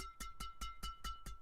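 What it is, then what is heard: Tightly strung badminton racket. A freshly restrung Kawasaki Steel Rebar 138 badminton racket, strung with VBS-66 Nano at 25 lb mains and 27 lb crosses, is tapped on the strings six times. Each tap gives a short, bright, ringing ping with a steady high-pitched tone, clear and metallic like knocking on steel. The sound shows a tight new string bed.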